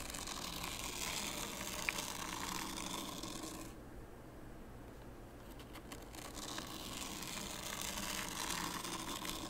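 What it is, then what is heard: Fine sand raked in a wooden tray. A small wooden rake is pulled along the far edge of a shallow wooden tray filled with fine white sand, scraping grooves. The result is a steady, grainy, bright scraping hiss with fine crackling texture. Around the middle it drops into a quieter, duller stretch before the full, bright rasp returns.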